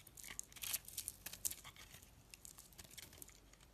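A blade scrapes crumbly shavings off the surface of a solid, dry, orange-and-yellow striped soap piece held in the hand. The sound is a quiet run of crisp, bright scratching and crackling bursts, loudest early on, then thinning into lighter, scattered scrapes.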